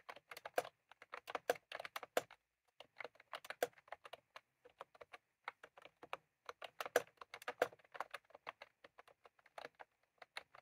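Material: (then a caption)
Plastic. Fingertips of both hands type continuously on a full-size plastic computer keyboard with round cream typewriter-style keycaps resting on a desk. The result is a quiet, steady run of short, crisp clicks with a mid-range tone, almost no low end, and brief pauses between bursts.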